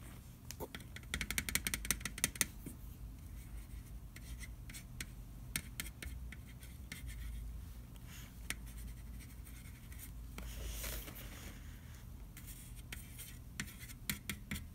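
A fingertip traces and scratches along the printed lettering on the curved side wall of a large, round, hollow metal butter cookie tin held up on its side. Quiet, dry scratching comes through with bursts of bright, crackly clicks, densest near the start, over a steady low rumble. Each click dies away almost at once, with no ringing.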